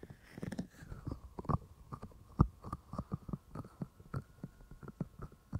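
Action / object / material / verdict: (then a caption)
tap / silicone microphone ears / silicone / none. Fingertips of both hands tap the white silicone ears of a binaural microphone, making about twenty short, dull, low thumps in an uneven rhythm. Each tap dies away at once, with a faint steady hum underneath.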